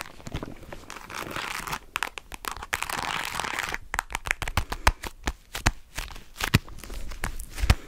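Long nails scratch and tap a small, hollow cream faux leather jewelry box held sideways. Stretches of soft, hissy scratching give way to a run of quick, dull taps with brief, low thuds and almost no ring.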